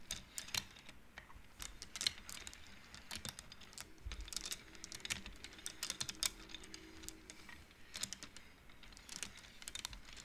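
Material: Wood.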